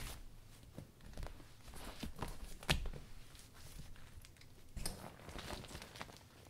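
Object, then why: Clear vinyl umbrella. A clear polka-dot vinyl umbrella is closed and folded by hand, its thin transparent vinyl crinkling between the ribs. Soft, irregular crinkles and rustles are heard with a low rumble underneath, broken by a sharp, bright snap near the middle and another crisp crackle shortly after.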